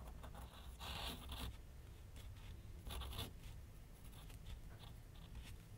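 A pencil held in the hand sketches and scratches curved lines on a large white paper sheet mounted on a flat board on an easel. Soft, dry scratching strokes come in louder bursts with a bright hiss, over a steady low rumble.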